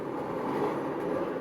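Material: Nothing is struck.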